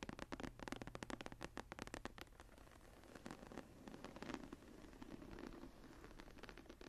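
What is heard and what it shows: Long fingernails on both hands scratch and rub the textured cover of a closed embossed leather journal lying flat. It opens with a quick run of sharp, dry scratching strokes for about two seconds, then settles into softer, steadier rubbing with occasional louder scrapes. The sound stays quiet and close throughout.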